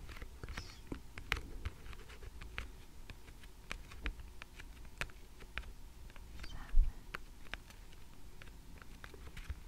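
Long red-painted nails tap and scratch the top card of a small stack of thick laminated cardboard flash cards with a pink "Numbers" cover, lying flat on a table. Quiet, sharp, very short ticks come one after another over soft scratching and a low, steady background rumble, with one slightly louder tap near the end.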